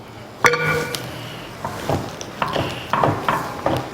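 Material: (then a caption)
Flour tortilla. A flour tortilla quesadilla, just flipped in a pan, is touched, tapped and scraped on its surface to check for a crisp, crunchy sound. A sharp first tap with a brief ringing tone is followed by a series of short, dry crackling taps and scrapes over a steady low hiss. The crisp sound shows the tortilla is properly cooked.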